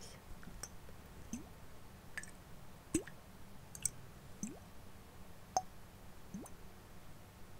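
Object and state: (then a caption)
Glass perfume bottle with liquid inside. A glass perfume bottle with liquid inside, a plastic lid and a gold sprayer is handled and shaken so the perfume sloshes. Soft, scattered clicks and small plops sound over a quiet low hum, some with short upward-gliding, bubble-like tones. Each dies away almost at once.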